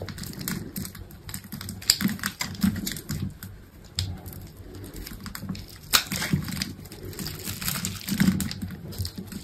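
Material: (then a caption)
Soap. A metal utility knife blade scrapes and cuts small cubes off a grid-scored solid green bar of dry soap resting on a table. The sound is a steady run of dry, crisp, crumbly scraping and crunching with quick, short-ringing clicks and a few sharper, brighter snaps.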